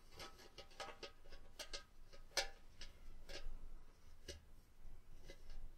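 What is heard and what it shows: A tabletop cone-shaped Christmas tree ornament with a hammered, textured silver mirrored surface, which looks like hollow mercury glass though the material is uncertain, is held at the base and scratched and tapped with long painted fingernails. Quiet, bright little clicks and taps come in an irregular series over soft scratching, each dying away almost instantly with a faint glassy tone. A low, steady background rumble sits underneath.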